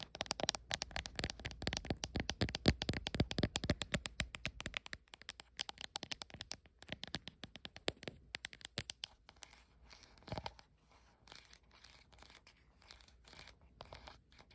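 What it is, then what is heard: Glass phone back tapped with nails. Long acrylic nails tap and scratch across the glass back panel and edges of a blue iPhone with no case, held in the hand. Dense, rapid, bright clicking taps fill the first nine seconds. Sparser, quieter scratches and light taps follow to the end.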